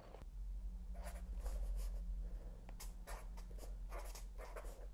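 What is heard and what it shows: A fine felt-tip pen held in the fingers writes across the paper page of a spiral-bound notebook with a cardboard back resting on a lap. Soft, papery scratching strokes come in quick, uneven bursts with brief pauses between them, over a steady low hum throughout.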